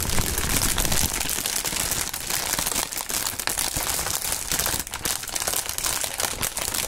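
Clear, thin, partly inflated plastic air-pillow packing film is crumpled and squeezed by the bare fingertips of both gloved hands. A dense, continuous crinkling and crackling with bright, hissy texture and some low rustle holds a steady level throughout, with only brief dips.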